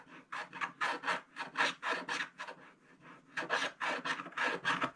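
A wooden stylus scrapes the black coating off a coloured scratch-art card page, near the drawn path and sheep, as the thin, solid page lies on a table. Repeated rasping strokes come in quick bursts with bright, hissy edges, with a brief quieter pause in the middle before the scraping picks up again.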